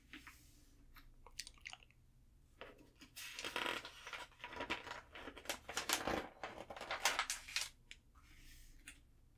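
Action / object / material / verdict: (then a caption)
scrape / glossy paper catalog pages / glossy paper / none. An open glossy guitar catalog lies on a table while its thin paper pages are turned with fingertips and long nails, then both palms rub across the open spread. Crisp, bright papery flicks and crinkles come in irregular bursts, building into louder sweeping rustles before fading to a soft swish.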